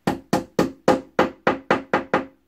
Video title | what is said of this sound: How I assembly IKEA double bed | you hear the difference in the sound? Listen. Don't tap it no further, you've reached your back.